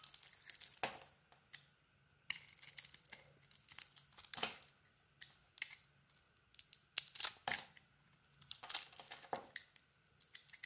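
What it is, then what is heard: Bar of soap being scraped. A small solid bar of soap with a pink glitter coating, held in one hand, is shaved and scraped with a metal utility blade, peeling off flakes that expose white soap underneath. Bursts of dry, crisp scraping and crinkly peeling, bright and hissy, come in short strokes separated by near-silent pauses.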